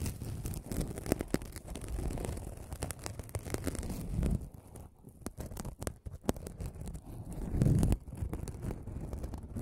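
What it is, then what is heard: Aluminum mesh scrubbing pad. An aluminum mesh scrubbing sponge is held in both hands close to the microphone and rubbed and scratched with the fingertips. It makes a steady, crinkly, low-heavy rustling full of quick sharp clicks and crackles. Louder crunching swells come around four seconds and again near eight seconds, with a quieter, sparser stretch between them.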